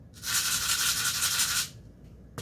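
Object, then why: Container of dried lentils. A container of dried lentils is shaken a third time, giving a bright, hissing rattle of grains that swishes steadily for about a second and a half before stopping. A short, sharp tap follows near the end.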